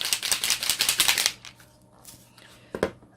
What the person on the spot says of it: it has a little ball in the end so you can shake it up until you hear that ball